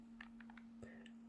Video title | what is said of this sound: Soundpeats Air4 Lite review | when you shake it you don't hear that rattle inside that you might get with some say a really really budget ones